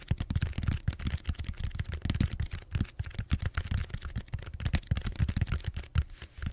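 Fingertips tap rapidly across the surface of a large purple bead-foam styrofoam roller held horizontally, in a typing-like rhythm. The taps are soft, dull, low thumps that die away almost instantly, with a faint crackly texture on top.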